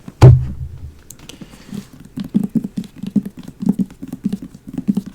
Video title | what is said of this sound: ASMR Leather Briefcase Makes Good Sounds (Fast Tapping) | it's just kind of a big briefcase that's all it's empty